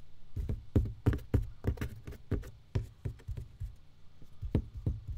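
An empty box is tapped in an uneven, quick rhythm, giving about seventeen short, hollow, low knocks with a faint bright click on each. Each tap dies away almost at once.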